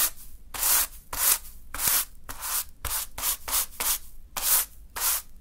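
A small natural-fiber hand broom sweeps through a small heap of fine green sand on a dark surface. About ten quick, slightly uneven brushing strokes make bright, hissy rubbing bursts of bristles scraping through the grains, with brief quiet gaps between them.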